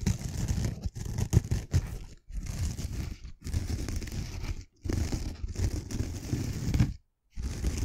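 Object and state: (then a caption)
Scouring sponge with abrasive pad. Long nails scratch slowly across the rough green scouring pad of a pink foam sponge held beside the mic. The result is a dense, low, rumbling scrape with a faint bright hiss, heard in several sustained passes separated by brief silences.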